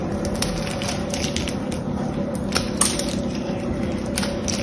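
A small blade scrapes the metallic paint coating off a solid blue bar of soap held in the hand, shaving its surface into crumbs. A steady, gritty scraping runs throughout, broken by sharp, bright crackles as flakes break away.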